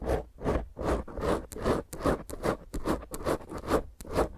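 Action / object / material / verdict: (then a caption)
scrape / foam microphone windscreen / foam / none. Long painted nails and fingertips of both hands scratch and rub roughly over a small, rounded black foam windscreen on a microphone. The result is a fast, fairly regular run of coarse, rasping strokes with a muffled, mid-heavy body, a low rumble underneath, and occasional brief bright scratchy flicks.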